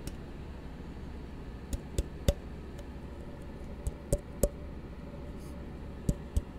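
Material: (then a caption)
Plastic. An empty, hollow plastic cup is held in both hands while fingertips and knuckles tap and knock on its sides. Eight short, dry knocks come in three loose clusters, each dying away at once. A steady low hum runs underneath throughout.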